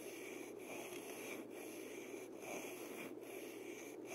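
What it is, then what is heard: Wooden maraca handle, rubbed. Fingertips rub and scratch along the slender wooden handle of a single gourd maraca held horizontally. The result is a quiet, steady dry scraping hiss with a bright, airy edge and faint tonal bands, broken by brief gaps between repeated strokes.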